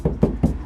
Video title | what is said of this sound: Toyota Avalon the full car stereo system install | When you tap the door, has a really hollow sound to it.